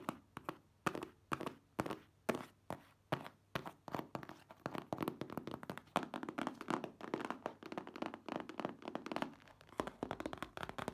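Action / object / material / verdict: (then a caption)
tap / cardboard product box / cardboard / none. Long manicured nails tap and scratch on a hollow, hand-sized printed cardboard product box for a car top cover, held in the hands. Slow, distinct hollow thunks give way to a fast, dense run of taps and scratches. The dry, short-ringing sound sits mostly in the low-mid range.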